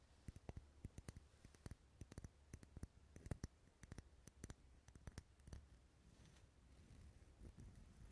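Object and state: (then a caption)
Wax pillar candle. A lit, dark red solid wax pillar candle held in the hand is tapped with fingernails, making a quick, irregular series of short, dry clicks over a low steady hum. After about five and a half seconds, the sharp taps give way to softer, denser scratching and tapping on the wax.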